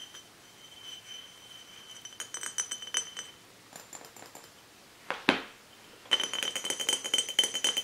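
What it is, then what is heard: Glass bottle. An empty glass swing-top bottle with a black label, lying on a book, is tapped and scratched with long nails and fingertips. Bright, high glassy clicks and clinks come in uneven bursts, with a louder brushing scrape near the middle. A dense run of quick taps follows at the end.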